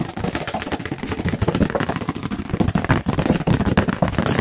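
A thin, light, white round paper plate held up near the microphones is tapped and scratched quickly with the fingertips and nails of both hands. The result is a fast, dense stream of soft, dull taps and scratches with a low, papery thump and very little high-frequency sparkle.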